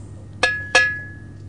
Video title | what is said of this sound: Siderurgite | Ce son métallique provient d'une tôle classique.